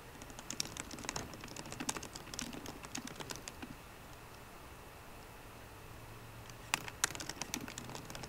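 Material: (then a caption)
Plastic. Both hands type rapid key taps with fingertips and short painted nails on the low-profile black plastic keyboard of a 13-inch MacBook Pro with a grey aluminium body, resting on a wooden desk. The bright, short clicks run for almost four seconds, then pause, leaving only a faint low hum. The typing resumes in a quicker burst near the end.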